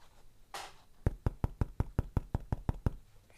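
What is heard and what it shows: A short broadband rustle is followed by eleven evenly spaced knocks on a less-damped spot of a car door panel, contrasted with a nearby well-damped area. Each knock is a dull, low thud around 80 Hz that stops almost instantly.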